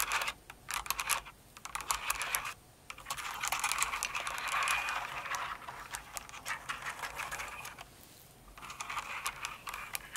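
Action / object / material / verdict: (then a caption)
tap / plastic mechanical keyboard / plastic / none. Long acrylic nails on both hands type and tap slowly on a full-size light blue and pink Cinnamoroll mechanical keyboard with plastic keycaps. Bright, crisp plastic clacks come in uneven bursts, with brief quiet gaps near the start and toward the end. A busier stretch of rapid clicking fills the middle.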